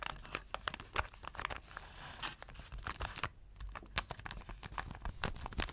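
Fingertips and nails scratch across the surface and edge of an apparently empty round blue plastic tray with a printed photo under a clear plastic cover. The result is a dense run of quick, dry, crinkly scrapes and sharp clicks with a bright edge and almost no ring, briefly easing to a soft rasp before the tapping scratches pick up again.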